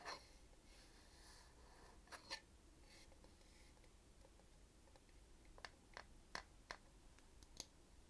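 A small hollow glass jar holding clear glass-like beads and a dark screw lid is held in one hand while long manicured nails and fingertips tap and scratch on the lid. Soft, quiet scratching runs under a series of short, sharp, bright clicks, most of them in the second half. Each click dies away almost instantly.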